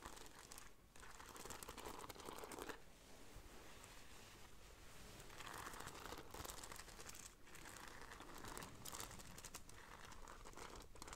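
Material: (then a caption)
Beads, fabric. Long nails scratch along the strap of a black fabric bag with a gold beaded braid. The result is a steady, dense crinkling and scratching texture with bright, gritty detail and a low rumble underneath. It swells and eases slightly as the nails move back and forth.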